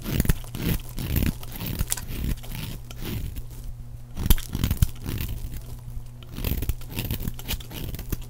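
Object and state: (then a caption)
Bar soap being shaved. A round, white, embossed bar of dry soap is held in the hand and shaved with a utility knife blade, peeling off white flakes. Each stroke makes a short, crisp, crunchy scrape with a dull, low-heavy body, repeating in quick bursts with brief pauses between.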